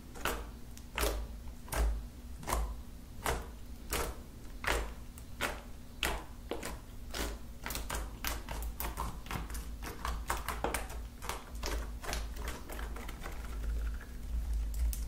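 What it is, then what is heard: Slime tapped with fingernails. Long acrylic nails tap rapidly, like typing, on flattened lilac slime with beads and glitter spread on a table; the slime is soft, solid and sticky. Irregular sharp clicky taps come in quick bursts over a low steady hum, with little ring after each tap.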